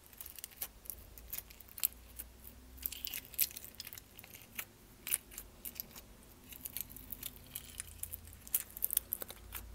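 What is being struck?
Small plastic tub of slime.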